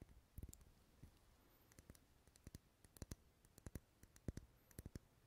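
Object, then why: Wax pillar candle. Fingernails tap and scratch the textured side of a lit, dark red solid wax pillar candle held in the hand. The result is a quiet series of short, dry clicks and taps with brief scratchy rustles between them, each dying away almost instantly.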